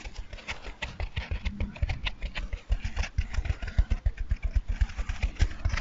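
A dry, hand-sized, two-layer blue and white foam sponge, soft and porous, is held in both hands while it is squeezed and scratched with fingertips and nails. The result is a rapid, uneven run of soft scratchy rustles, each with a dull low thud. Faint bright crackle sits over the top.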